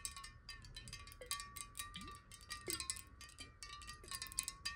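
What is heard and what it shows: Long nails tap quickly on a clear square glass bottle of water held sideways. The result is a rapid, uneven patter of bright, crisp clicks over a faint, steady glassy ringing tone, with occasional short, low pitch-sliding water sounds. It stays quiet throughout.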